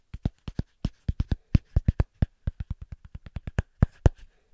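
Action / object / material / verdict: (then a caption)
tap / small thick cork coaster / cork / none. A small, thick, round cork coaster held in one hand is tapped quickly and rhythmically with the fingertips of the other hand. About 23 short, dull, low thuds land in an uneven, fast pattern, each dying away at once with no ring.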